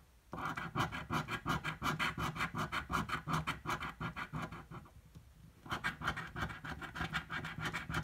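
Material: Paper.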